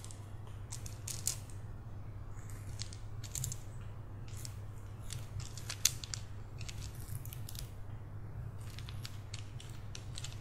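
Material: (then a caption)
Wood. A bracelet of round, solid, reddish-brown wooden beads on a cord is held between both hands, stretched and rolled so the beads click against each other. Quick, bright, dry clicks come in irregular bursts over a steady low hum, with a few sharper taps standing out.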